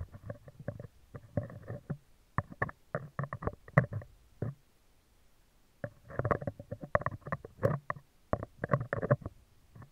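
Metal tweezer tips scratch the top and upper-left of a hollow, round steel wire-mesh microphone grille. The result is a dense run of short, dry scraping and clicking bursts heavy in low-end rumble, with a brief pause midway before the scratching resumes.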